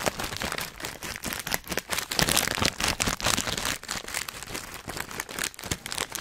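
A filled, hand-sized Hot Nuts snack bag made of metallized plastic foil is crinkled and squeezed with the fingertips of both hands close to the microphone. It gives a dense, irregular run of sharp, bright crackles and crunches with quick dry decays, rising and falling in loudness throughout.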